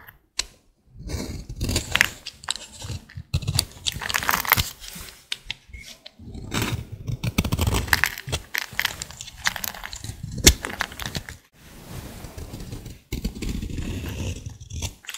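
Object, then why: Bar of soap scraped with a blade. A solid green bar of dry soap, held in hand, is scraped with a utility blade, with shavings in the background. The result is a long series of dry, crunchy scraping and crumbling strokes with bright, crackly edges, separated by brief pauses.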